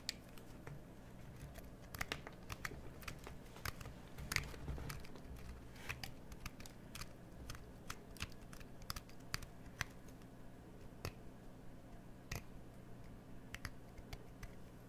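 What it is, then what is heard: Bar of soap being carved. A hand-held, hollowed cream bar of soap is carved with a craft knife scraping inside the recess, with shavings below. It makes a steady run of crisp, bright cutting clicks over a low, steady hum.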